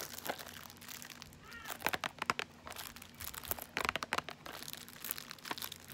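Long nails tap and scratch along the edges and face of a small M&M's caramel cardboard box. The result is quick, dry, bright clicks and crinkly scraping in uneven bursts, each tap dying away almost instantly over a faint low hum.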